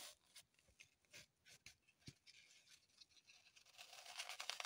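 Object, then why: Green floral foam block. Long pointed acrylic nails scratch and dig into a small, solid, unwrapped green floral foam block held in the hands. Quiet, bright, dry scratches and crunchy crumbling come in quick, irregular bursts. They grow denser and louder, with a crisper high crackle, toward the end.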